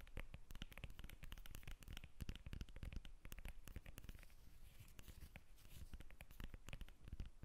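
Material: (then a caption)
Citrus peel. Long nails tap and scratch the peel of a whole yellow lemon held just above the microphone. The result is a quiet, fast, continuous run of dry, close-up taps and scratchy rasps that stop short with no ring, heavy in low thump.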